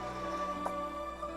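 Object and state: Nothing is struck.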